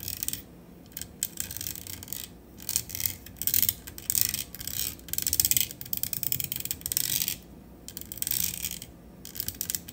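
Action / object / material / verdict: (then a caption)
tap / metal microphone body and grille / metal / none. Long acrylic nails tap the body and grille of a black matte metal USB studio microphone on a stand in quick flutters. The bursts of fast, bright clicking and scratchy tapping come in waves, separated by brief quieter pauses with a low background hum.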